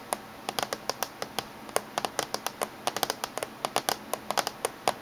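Fingernails of both hands tap on the top surface of a closed silver laptop casing. The result is a quick, uneven run of short, dry clicks with a hollow midrange knock near 720 Hz and a bright tick on each hit, each decaying almost instantly.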